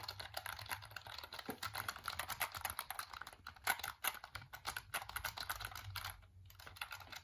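A hollow black plastic computer keyboard is tilted and then held upright while fingertips and nails tap and click its keys. The result is a quiet, rapid stream of short, bright clicks with almost no ring, over a faint low hum.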